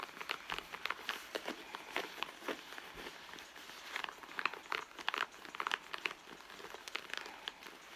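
Long nails on both hands scratch the leather of a hollow red leather handbag, making dry, crackly scrapes and taps with bright upper content and almost no low end. The sound comes in dense, uneven bursts that grow busier and louder in the second half.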